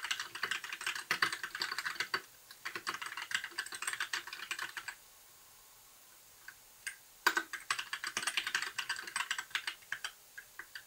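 Both hands type steadily with their fingertips on a compact white, backlit plastic mechanical keyboard with a hollow case. The rapid, bright, clacky key taps run in dense bursts. They pause for about two seconds, with only a couple of isolated taps, then resume at a brisk pace.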